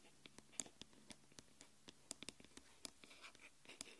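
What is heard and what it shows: Long nails tap and scratch the aluminium back of a small smartphone lying face down on a wooden table. The result is a quiet series of sharp, bright clicks with short scratchy strokes between them, about 16 distinct taps over four seconds, each dying away almost instantly.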